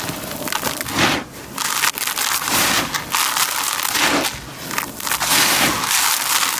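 Bare hands scoop dark grey dry crumbled concrete grit from a white plastic tub, squeezing and crushing it before letting it pour through the fingers. The result is a dense, bright, gritty crunching and crackling that runs continuously, swelling and easing with each squeeze and pour, with almost no low end.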